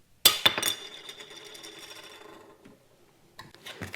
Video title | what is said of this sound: How To Identify Lens Materials | really hear that very distinct poker chip sound